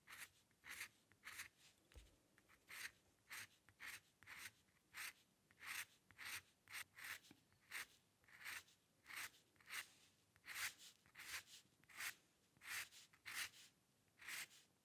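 A metal-nib dip pen scratches fine ink strokes, drawing hair on the right side of a white paper sheet resting on a dark surface. About 24 short, bright, raspy scratches come at a loose, uneven pace, each ending almost at once, with quiet gaps between them.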